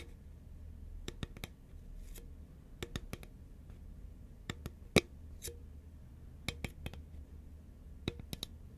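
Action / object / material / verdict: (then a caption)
tap / paperboard chip can / paperboard / none. Long fingernails tap rapidly on the label side of a hollow, tall cylindrical composite paperboard Pringles chip can held horizontally. About fifteen short, dry clicks with bright tops stand out in scattered clusters over a steady low hum, each dying away almost instantly, with one tap near the middle noticeably louder than the rest.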